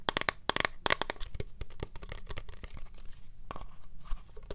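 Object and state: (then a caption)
Plastic pump bottle. A tall, translucent blue plastic pump bottle with liquid inside is held sideways and tapped with long fingernails. It gives a rapid, irregular run of sharp, dry clicks and crackly scratches. The taps are bright and snappy and die away at once with no ringing.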